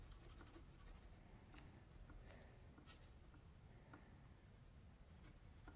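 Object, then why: Graphite pencil on a sheet of drawing paper. A metal mechanical pencil tip scratches and shades in short strokes across a flat white sheet of drawing paper, held by the left hand on a table, while sketching a face. Faint dry scratches and soft ticks sit over a steady low hum, with occasional brief bright streaks of graphite on paper, all at a very quiet level.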